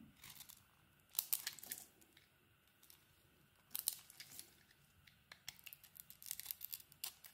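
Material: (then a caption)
Soap. A metal utility-knife blade shaves and scrapes the cream interior of a red-coated solid bar of soap held in the hand. It makes quiet, crisp, bright scraping and crumbly tearing sounds in short bursts with brief pauses between them. The strokes grow denser toward the end.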